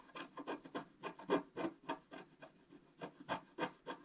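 A wooden stylus scratches away the coating of a flat, black-coated scratch-art paper page in repeated strokes. About sixteen short, dry scraping strokes come in a loose, uneven rhythm, each a rasping burst centered in the midrange with little low end.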